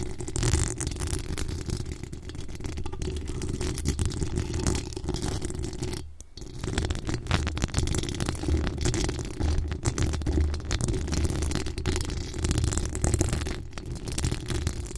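Long acrylic nails and fingertips scratch over the top of a hollow metal mesh microphone grille. The result is a steady, dense scratching and rubbing texture with a heavy, boomy low end and only faint high detail. It dips briefly near the six-second mark before continuing.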